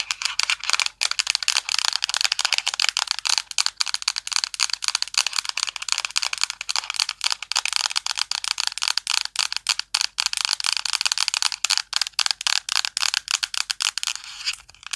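Long nails tap and scratch the metal back of a thin, flat, silver aluminum tablet held in both hands. The result is a fast, dense stream of sharp, dry clicks and scratchy ticks that are almost entirely high and bright, with no low end and no ringing after each tap.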